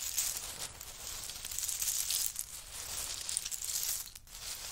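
Both hands dig, scoop and rub with fingertips and short nails through a large heap of small, hollow, empty pistachio shells resting on a faux-fur mat. The shells make a dense, bright, continuous crunching and rattling that swells and eases, with almost no low end. There is a brief quieter dip near the end before the rattling picks up again.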